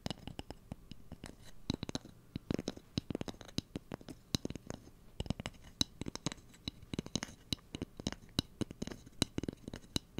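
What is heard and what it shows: A fingernail scratches and taps along the length of a light, solid wooden cooking spoon. Dozens of short, dry taps with almost no ring come in quick, uneven bursts over soft, continuous scratching. The taps carry both a low woody knock and a bright click.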